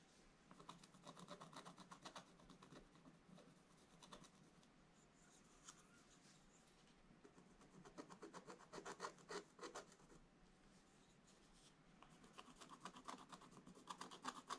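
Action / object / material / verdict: scrape / coated scratch-art paper and wooden stylus / coated paper / none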